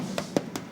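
A 4-month-old Bagnes raclette cheese wheel, made from village milk rather than alpine pasture milk, is tapped to check for internal openings. Four short, dry knocks with a mid-low body and almost no ring are heard. The wheel sounds correct, not hollow, where a faulty one would sound dull and hollow.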